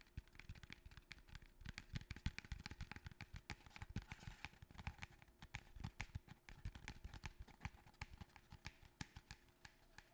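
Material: Cardboard.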